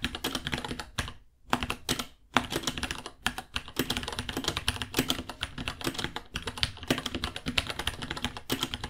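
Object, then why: Plastic mechanical keyboard. Both hands type with their fingertips on a small white 66-key mechanical keyboard, a $60 board with Gateron Brown switches, white plastic keycaps, a hollow case and pink underglow, resting on a white desk. Rapid, overlapping bright plastic clacks carry a hollow low-mid body and stop almost instantly. Two brief pauses break the typing near the start.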